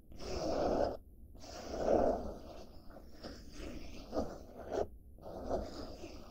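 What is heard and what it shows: Fingers and nails scratch the surface of a padded blue denim-fabric bag held close by. Bursts of soft, dry rasping swell and fade with short silent pauses between them, centred in a muffled midrange with faint bright hiss on top.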